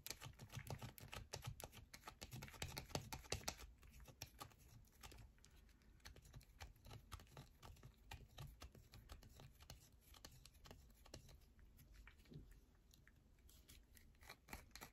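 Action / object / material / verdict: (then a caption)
scrape / bar of soap / soap / none. A solid yellow bar of soap, held in both hands, is scratched and tapped rapidly with long nails. It makes a dense run of quick, dry clicks and scratchy ticks with a bright edge. The sound is loudest in the first few seconds, then settles into a softer, steady patter.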